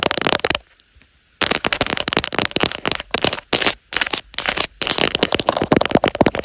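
Long acrylic nails rapidly tap and scratch across the raised leopard-print texture of a black soft silicone/TPU phone case on a smartphone mounted on a tripod. The result is dense, crackly bursts of sharp clicks and rasping scrapes, with a brief pause of near silence early on.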